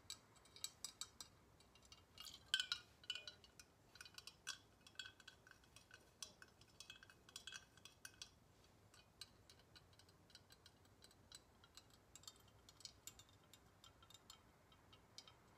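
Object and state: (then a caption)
Glass Galileo thermometer. A liquid-filled glass Galileo thermometer tube with coloured glass floats is held horizontally and tapped along its length with long nails. Quiet, bright clinks ring out around 3.1 kHz, each dying away almost instantly. The taps come in an irregular stream of light, glassy ticks, with the loudest cluster near the start.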